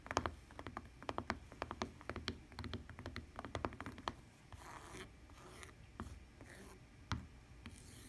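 Long painted nails and a fingertip scratch across the woven texture of a lavender fabric tablet case with a plastic rim. Dense, quick ticking scratches fill the first four seconds, then ease into softer rubbing hiss with a few isolated sharp clicks.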